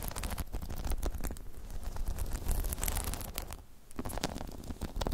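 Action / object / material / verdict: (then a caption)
scrape / spiky rubber half-dome balance pod / rubber / none. Long chrome nails scratch and tap over the top of a hollow spiky rubber half-dome balance pod. The result is a dense run of soft scratchy clicks and taps over a low, rumbling hollow thud, with a quieter dip near the end before the scratching picks up again.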